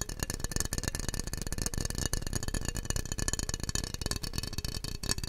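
A small, clear, hollow glass jar that looks empty is held in both hands and turned while fingertips tap rapidly across its sides and bottom. The result is a dense, continuous stream of quick, dry clicks with a low, thumpy body and faint bright glassy ringing above.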